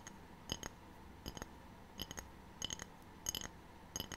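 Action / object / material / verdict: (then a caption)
tap / ceramic tray / ceramic / none. A ceramic tray is tapped in short, quick pairs with pauses between them. Each tap gives a brief, bright, glassy clink with a little high ringing that dies away almost at once, over a faint steady background hiss.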